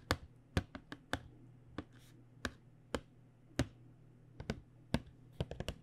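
Long nails tap the back face of a tilted, printed cardboard box of paint pens, making 16 short, dry clicks at an uneven pace. The taps stop almost instantly, and a steady low hum runs underneath.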